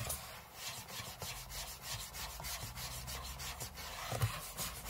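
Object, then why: Aluminium laptop lid. Short fingernails scratch the aluminium lid of a closed space-grey MacBook lying flat on a table, close up. Quiet, steady, rhythmic scratching with a bright, airy texture runs throughout, over a low hum, with one slightly louder scrape near the end.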